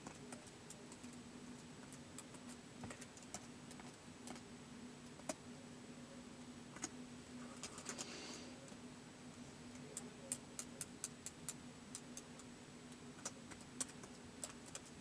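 Fingertips slowly tap the keys of a white plastic laptop keyboard, making sparse, short, bright clicks that die away almost instantly. The typing is quiet and spaced out, with a brief cluster of quicker keystrokes near the middle, over a faint steady low hum.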